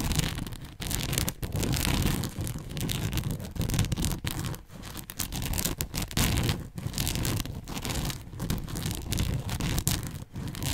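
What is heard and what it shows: Long manicured nails pinch and scratch along the folds of a soft, hollow-ish red and white Canadian-themed fabric bow headband held close to the mic. The result is a dense, continuous scratchy rustle, heavy in the low end with a bright hiss on top, broken by brief quiet gaps between strokes.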